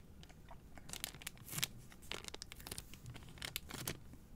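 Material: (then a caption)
Plastic film. Long nails tap and scratch a single white Native deodorant cardboard box in clear plastic wrap, held in one hand. The result is a quiet, uneven stream of sharp, dry crinkles and scratchy clicks, bright and papery with almost no ring, over a faint low rumble.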